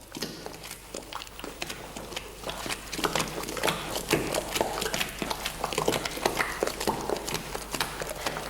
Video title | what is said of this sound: PANES, BOLLOS y DULCES amasados como antiguamente: A MANO Y SIN MÁQUINAS. Recetas con tradición | Il chante déjà, maintenant. Ça sonne déjà.